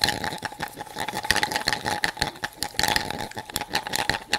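A hollow plastic toy cup with a clear chamber of loose beads is held in one hand and shaken, and the beads rattle inside. The sound is a fast, dense, bright clatter of many quick overlapping clicks, with a faint steady tone running underneath.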